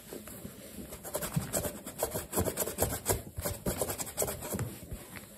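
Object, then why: Leather sneaker rubbed with a cloth. A black leather low-top sneaker, hollow and stuffed with a cloth, is held in one hand and rubbed and buffed with a yellow polishing cloth wrapped around the fingertips. Quiet, repeated rubbing and squeaky swishing strokes come in uneven bursts, with a soft low-heavy scuffing body and faint bright hiss.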